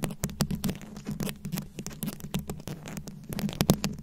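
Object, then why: Microphone head covered in small plastic rhinestones. Very long acrylic nails scratch and tap a fist-sized microphone head fully covered in small round rhinestones, likely plastic, held close. A rapid, uneven run of crisp clicks and scratchy taps sounds over a steady low hum near 190 Hz. Each hit cuts off almost instantly, giving a dry, close patter.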